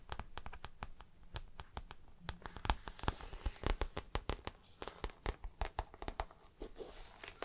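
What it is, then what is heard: Patent faux leather handbag, tapped and scratched. Fingertips and nails scratch and tap the glossy surface of a hollow floral-print patent faux leather (vinyl) handbag and its black patent strap near the metal buckle. Many quick, dry taps and clicks sound close up, with crinkly, bright scratching between them and a soft low thump beneath.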